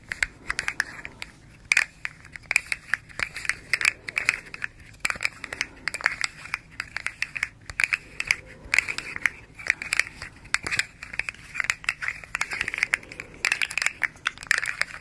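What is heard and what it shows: A small, hollow, rainbow-striped plastic articulated slug fidget toy made of hard segments is bent and twisted in the hands and scratched with long nails. Dense, crunchy clicks and scratches sound in rapid bursts, bright and crisp with a strong band around 2 kHz. The clicks come in too quick a succession to count.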